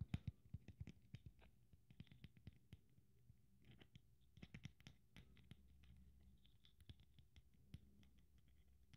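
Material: Glitter, beads.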